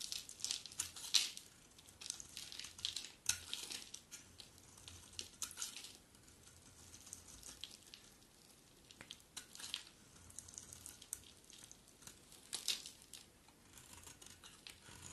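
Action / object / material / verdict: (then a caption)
scrape / bar of soap scraped with a metal blade / soap / none. A hand-sized solid bar of dry blue-and-white striped soap, held in one hand, is scraped and carved with a metal utility blade, chipping off flakes. The sound is bright, crackly scraping and crunching in uneven bursts, with short quiet gaps and almost no low end.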